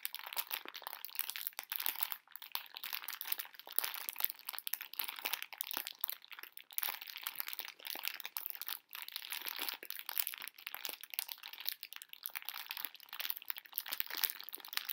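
A full pink plastic-film bag of small hard conversation-heart candies is squeezed and crinkled with fingers and long nails. Dense, bright crinkling and crunching crackles go on for the whole clip with almost no low end, broken by brief near-silent pauses.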